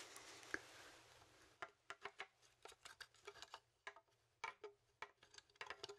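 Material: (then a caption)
Bone. A large, hollow, dry horned goat skull of bone with long ridged horns is held in both hands while fingertips tap and scratch along the bone and horn. It opens with a soft, bright, hissing scratch for about a second and a half, then gives way to a quick, irregular run of sharp, dry taps. Each tap clicks and dies almost instantly, with no ring and almost nothing in the low end.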